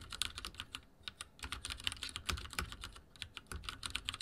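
Fingertips type rapidly on a backlit mechanical keyboard with dark plastic keycaps and a silver frame. The result is a fast, uneven stream of short, bright clicks and clacks with very little ring, over a faint low thump from each keystroke.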